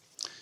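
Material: Steel.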